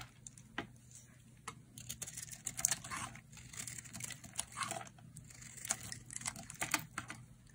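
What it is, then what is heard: Dry bar soap being carved. A metal utility blade scrapes and cuts into a solid, hand-sized oval bar of dry green soap with a white interior. Crisp, bright scraping and crumbly crackling come in short irregular bursts with sharp clicks, over a faint low hum. Each cut stops dry and immediately, with no ring.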